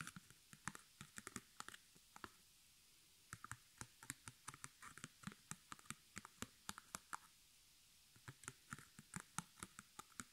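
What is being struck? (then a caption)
Stretched canvas on a wooden frame. Long fingernails tap and scratch the front and edges of a small white stretched canvas on a hollow wooden frame held up in the hands. Dozens of short, dry, bright clicks come in uneven bursts with brief pauses, each dying away almost instantly over a quiet background.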